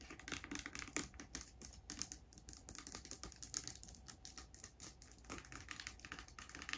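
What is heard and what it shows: Long grey acrylic nails tap and scratch a small, clear, hollow plastic bottle of hand sanitizer, partly filled with liquid, and its label while the bottle is held in the hand. The result is a quick run of many light, crisp clicks and scratchy rustles with a bright, high edge and almost no ring. The sound is quiet and close.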